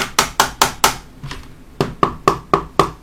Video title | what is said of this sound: Review - CM032A BLACK CYMA (M14) ( FRENCH ) | malheureusement, vous pouvez l'entendre, ça sonne creux